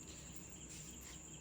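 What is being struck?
Nothing is struck.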